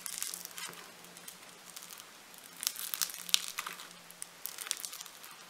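Fingertips with gold-painted nails press and knead a hand-sized solid lump of light blue foam-bead clay, producing quiet, bright crackling and fizzy popping in irregular bursts, with a few sharper snaps. A faint steady low hum runs underneath.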